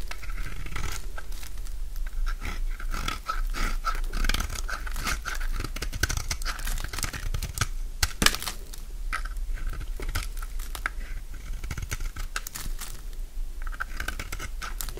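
A utility knife slices and shaves a solid oval bar of dry orange soap, producing steady scraping and cutting. Dense, crisp crunches and short dry crackles run throughout over a low rumble, with bright edges on the sharper strokes and one louder crack around the eight-second mark.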